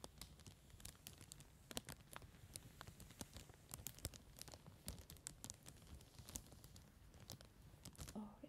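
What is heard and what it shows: Fingertips and short nails tap and scratch across a large, empty, clear cellophane bag lying flat on a table, making it crinkle. Quiet, rapid, sharp crackles and ticks flash bright and high over a soft low rumble, each snap dying away almost instantly.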